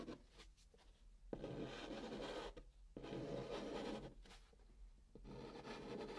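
Fingers with painted nails draw a pink chalk arc across the surface of a hollow brown cardboard box. Chalk rubs on cardboard in three long, dry, scratchy strokes, separated by quieter pauses. Each stroke is a steady, gritty rasp centred in the mids with a hollow body.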